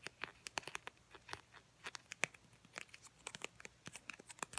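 Long painted nails tap and scratch a filled mini Crest toothpaste tube made of soft plastic laminate with a white plastic cap. About two dozen quick, quiet, crisp ticks and scratchy crinkles are heard, bright and high-pitched with almost no low end. Each one stops dead with no ring.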